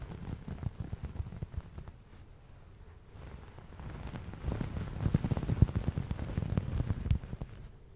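A fluffy white fabric towel, soft and flexible, is held up beside the mic and rubbed and scratched with the fingertips. Deep, muffled, low-pitched brushing and soft thumping rise and fall, quieter in the middle and busier with denser irregular scratches toward the end.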